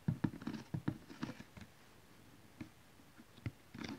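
Long nails and fingertips of both hands tap on a large, flat cardboard DVD collection box, probably full of DVD cases, lying on cloth. A quick cluster of dull, low taps with faint bright nail clicks fills the first second and a half, then a few isolated taps follow after pauses. Each tap dies away almost instantly, leaving a soft, muffled patter.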